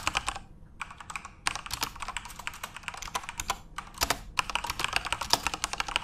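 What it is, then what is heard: Plastic mechanical keyboard. Fingertips type at a moderate pace on a full-size RGB-backlit Corsair mechanical keyboard with plastic keycaps. They make a steady stream of short, bright plastic clicks and clacks that die away almost instantly, with a brief pause early on.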